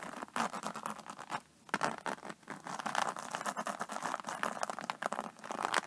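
An iridescent, embossed faux-snakeskin vinyl iPad case lies on a table as long nails tap and scratch its textured cover. The result is a dense patter of quick, dry clicks and scratchy rasps, centered in the mids with bright high edges and a brief pause about a second and a half in.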